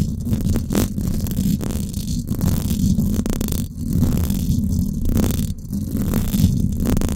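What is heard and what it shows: Long acrylic nails scratch the hollow, silver woven-wire dome grille of a Blue Yeti microphone. The result is a continuous, dense rumbling scrape, heavy in low frequencies, with faint brighter streaks as the nails drag across the mesh at varying speeds.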